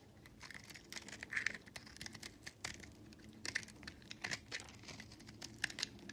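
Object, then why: Recycled soap bar scraped with a blade. A box-cutter blade with a red handle scrapes across a hand-held, hand-sized solid purple mottled recycled soap bar, shaving flakes off its surface. Quiet, dry, crackly scraping comes in short irregular bursts with bright, crisp edges and almost no low end. Each stroke stops sharply with no ring.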